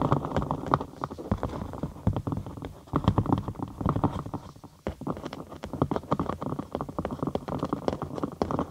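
A thin cork sheet, curved over a binaural microphone with a hollow space underneath, is tapped and scratched with long acrylic nails. Quick, dry taps and scratches come in a dense, steady stream, giving soft hollow thumps with a boomy low end and a muffled tone.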